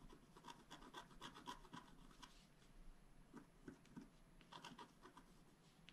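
The tip of a wooden stylus scratches a flat black scratch art paper card lying on a table in repeated short strokes. The result is quiet, dry scraping and rasping with a slight high, bright edge, coming in quick, loosely spaced bursts of about four per second.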